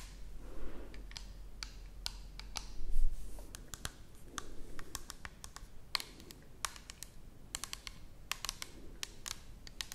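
Long nails tap the side of an orange plastic toner bottle held horizontally close to the camera. The result is a quick, irregular stream of sharp, bright clicks, with softer scratchy swells in between, over a steady low hum.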